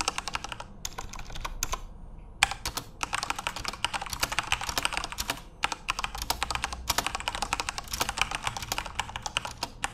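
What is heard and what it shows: Fingertips of both hands type continuously on a full-size RGB-backlit Corsair mechanical keyboard with plastic keycaps. The result is a dense stream of sharp, bright, clacky keystrokes with very short decay, broken only by a couple of brief pauses near the start.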